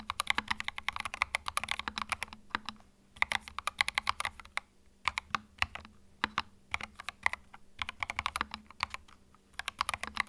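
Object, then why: Plastic mechanical keyboard. Fingertips type on a small white 65% mechanical keyboard with plastic keycaps and a hollow plastic case, resting on a felt mat. Bursts of fast, bright clicky keystrokes, each dying away almost instantly, are broken by a few short pauses, over a faint steady low hum.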